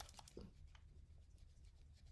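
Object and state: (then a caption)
Pistol tight, no rattle on shake. An EAA Girsan Regard MC WhiteOut, a metal semi-automatic Beretta-clone pistol, is shaken close to the mic to check for loose parts. Only a low, steady rumble and a few faint, soft handling brushes near the start are heard, with no rattle. The gun is tight and sturdy.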